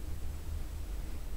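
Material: Nothing is struck.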